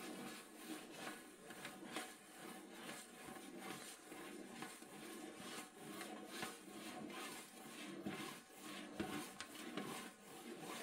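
Long nails scratch slowly across the lid of a large, round, hollow metal cookie tin lying flat. The result is a steady, bright rasping scrape with a faint tinny resonance, rising and falling in slow strokes about once a second.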